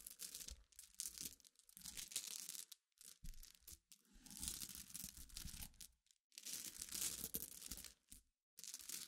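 Long nails and fingertips scratch and stir a pile of small clear solid glass pebbles mixed with glass chips resting on black cloth. The result is bright, crunchy rustling and fine clicking that comes in bursts, separated by brief quiet pauses.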